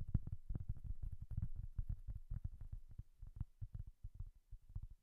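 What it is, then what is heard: Cork coaster. Long nails tap and scratch a round, flat, solid cork board coaster held near the microphone. The result is a quiet, irregular run of fast and slower dull, low thuds with almost no ring, and faint scratchy texture between the taps.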